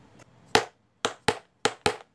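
A wooden blackboard duster is tapped five times in a one-two-two pattern: one knock, then two pairs of quick knocks. Each tap is a short, dry, woody click that fades within a fraction of a second.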